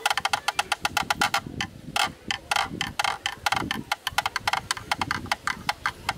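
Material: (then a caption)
Plastic. A black rectangular hollow plastic camera lens hood is held in the hand while a bamboo stick knocks rhythmically on its inner edge. About 34 short, dry, hollow clicks ring at a woody mid pitch with bright tops, and each one dies away almost instantly in quick, uneven runs.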